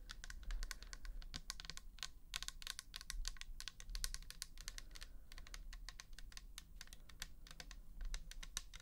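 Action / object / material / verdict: tap / plastic bottle / plastic / none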